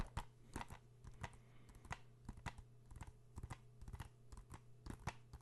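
A blue hollow plastic PS4 video game case, held in both hands close to the microphone, is tapped and scratched with fingertips and nails. A quiet, uneven run of short, dry clicks and light scratches sounds over a steady low hum.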